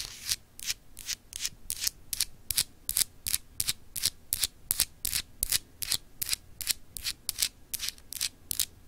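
Long acrylic nails scratch a small, solid, clear etched glass globe paperweight in quick strokes. Each stroke is a short, bright, hissy rasp with almost no ring afterward, repeating in a fairly steady rhythm of about two and a half strokes per second.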